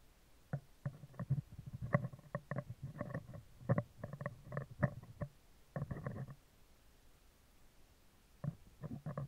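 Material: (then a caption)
Steel mesh. Metal tweezer tips scratch and tap the round, hollow steel wire-mesh grille of a handheld microphone on a stand. Close, muffled low thumps and scratchy bursts come in quick clusters, with a quiet pause before a final flurry of taps.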